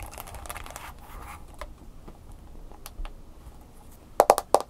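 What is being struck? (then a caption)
Plastic smartphone case. Long nails tap and scratch the edges and screen of an upright smartphone in a mint green plastic case. A dense, bright scratching opens the clip, then fades into quiet, sparse clicks. A quick run of sharp, louder taps with a clicky mid-pitched tone closes it.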